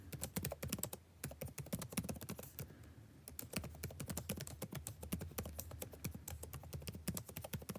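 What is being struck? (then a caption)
Plastic laptop keyboard. Fingertips type continuously on the blue-backlit plastic keycaps of a dark laptop keyboard, producing rapid, sharp clicking taps. The short, dry key strikes come in quick bursts, with a couple of brief lulls.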